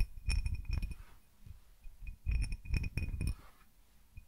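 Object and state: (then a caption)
Cut glass tumbler. Fingertips and nails tap the outside of a small, empty, hollow, clear cut-crystal tumbler with a diamond pattern, held in one hand. The taps come in two quick clusters separated by quieter pauses. Each tap gives a soft low thump with a brief bright glassy chink that fades almost at once.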